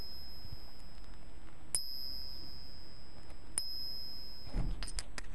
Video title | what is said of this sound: Fake silver & gold coins: 5 easy ways to spot them. | silver sounds like a long sweet silver bells sound